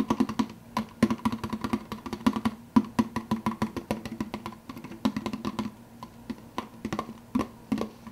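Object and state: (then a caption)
Plastic soda cup with lid. Fingertips tap rapidly on the clear plastic lid of a large, hollow, empty plastic soda cup while the other hand holds the cup. The result is a dense run of short, hollow clicks with a low resonant tone near 220 Hz, each decaying almost instantly, with uneven loudness and brief pauses between bursts.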